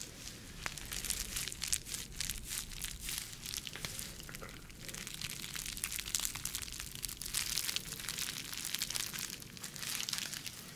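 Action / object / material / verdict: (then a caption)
scrape / soft plastic bubble packaging sleeve / plastic / none. A clear, soft, bubble-textured plastic packaging sleeve, hand-sized and empty, is crinkled, squeezed and scratched with long nails. The result is a dense, continuous stream of bright, crisp crackles and scratchy rustles over a faint low rumble. Sharp clicks and brief louder bursts recur throughout.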